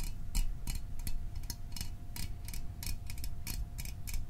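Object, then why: Small aluminium drink can. Fingernails tap the top and sides of a small, hollow Fanta orange aluminium drink can held in the hands, making a rapid, uneven series of short, bright ticking clicks. Each tap dies away almost instantly over a low, steady rumble and a faint constant hum.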